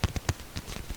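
An apple is tapped for ASMR, giving a quick series of soft, dull thumps. Each tap is mostly low in pitch with a brief crisp click on top and dies away almost at once.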